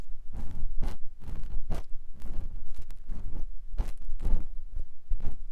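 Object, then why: Silicone ear of binaural microphone. A clear silicone ear pick with a yellow handle scratches inside the ear canal of a white silicone ear on a microphone block. The result is a series of close, muffled rubbing and scraping strokes, heavy in low rumble, with occasional brighter scratchy edges that stop quickly.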